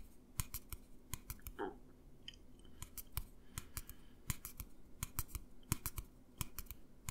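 Fingertips and nails tap and scratch a tall, hollow, empty white plastic tumbler held upright. The result is an irregular series of sharp, dry clicks that stop almost instantly, with a brief scratchy rasp near the start.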